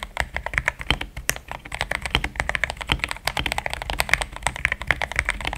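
A compact pink-and-cream plastic mechanical keyboard with thick XDA-profile keycaps, Gateron Yellow switches and a polycarbonate plate sits on a desk mat while the fingertips of both hands type steadily on the keys. About 42 short, dry keystrokes rattle out in a quick, uneven rhythm, with a bright clack around 2 kHz over a soft low thump.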